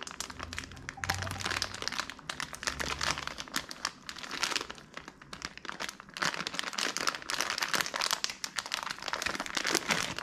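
A small clear and printed plastic bag of Tootsie Roll Midgees, full of wrapped Tootsie Rolls, is held in hands, turned over and crinkled with fingertips. Dense, bright crinkling and crackling plays continuously for about ten seconds in uneven bursts, with a faint low hum early on.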